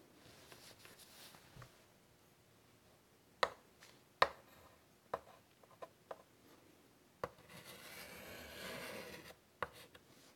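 A hand with pink nails draws curved lines with a white chalk stick on a large, flat, wooden-framed chalkboard lying on a table. Soft, scratchy chalk strokes alternate with several sharp, clicky taps as the chalk meets the board. A longer, bright, rasping stroke comes near the end, followed by a few final taps.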